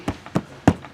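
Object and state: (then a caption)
Rotted RV back wall. Four dull, low thuds with almost no ring sound as the back wall of a 2002 Sunnybrook RV is tapped by hand. The wall had many leaks, and the hollow thud shows it is rotted rather than solid.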